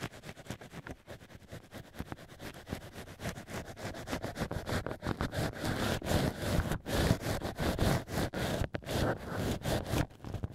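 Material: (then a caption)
Cork. Black ear picks scratch and scrape inside the holes of drilled cork wine-stopper ears set in a plush holder, in many short, quick strokes. The scraping is a dry, crackly rasp with a low, dull body, growing louder and brighter about halfway through.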